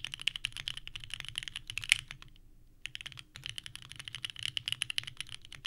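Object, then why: Mechanical keyboard with plastic keycaps. Both hands type steadily with their fingertips on a small 65% mechanical keyboard with a purple case and white ABS keycaps, resting on a desk mat. Rapid, bright, clacky key presses with sharp attacks and almost no ring stack into dense bursts, with a brief pause just past two seconds before the typing resumes.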